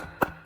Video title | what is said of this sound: 99% of people don't know this! Just use WELDING ROD and the results were shocking | پھر بھی مضبوط پکڑے ہوئے ہیں کوئی دراڑ نہیں، کوئی ریزہ ریزہ۔